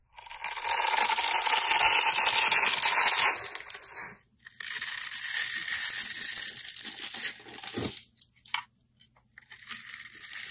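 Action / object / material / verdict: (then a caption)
scrape / bar of soap scraped with a blade / soap / none. A box-cutter blade carves and scrapes thin shavings from the surface of a solid red oval bar of soap with an embossed brand, held in the hand. Bright, dense scraping and tearing sounds come in long strokes: a sustained scrape for about four seconds, a brief pause, then another extended pass that breaks into shorter scrapes toward the end.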